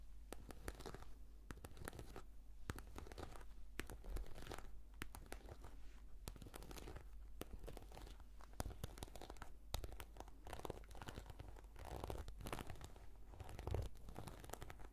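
A black, glossy, embossed patent faux-leather brush case is scratched with long nails. The result is a steady run of quiet, dense scratching and crinkling with short clicks scattered throughout, over a low hum.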